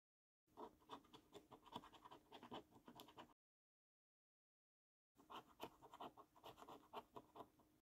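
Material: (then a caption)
Paper. A coin edge scratches the coating off a thin, flat £15 Luxury Lines National Lottery paper scratch card, producing quick, dry rasping strokes centered around 1 kHz with a light bright edge. The sound comes in two bursts of rapid scratching about three seconds long, separated by a short silence.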